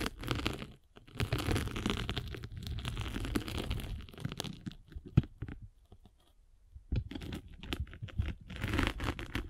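A metal-spiked derma roller is rolled across a solid grey-and-blue abrasive foam sanding sponge block, giving a dense, low, rumbling scratch with a crackly crunch. The rolling comes in bursts, with a brief gap near the one-second mark and a longer quiet stretch before it resumes toward the end.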